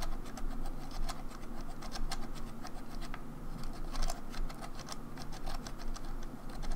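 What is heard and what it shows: A grey hollow plastic Nintendo 64 controller is held in one hand while long nails tap and scratch around the analog stick and the front plastic shell. The result is a steady stream of soft, dry scratching and light clicking, with brief bright ticks over a low, muffled rumble.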